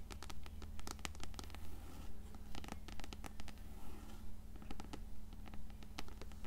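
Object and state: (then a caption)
Paperback book tapped and scratched. Long nails tap and scratch the spine and cover of an upright, closed paperback copy of Coraline. Quick, fairly regular dry taps and scratchy strokes come at roughly two per second over a steady low hum.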